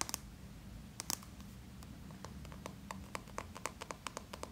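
Fingertips and short nails tap and scratch around a small, closed yellow plastic Play-Doh tub with a red plastic lid and printed label, held in both hands and probably full of dough. Quick, dry clicks and scratchy ticks with a slight tone around 1 kHz and bright edges die away almost instantly. They come in small clusters over a faint, steady low rumble.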